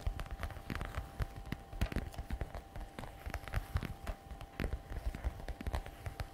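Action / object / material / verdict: tap / patent leather messenger bag / patent leather / none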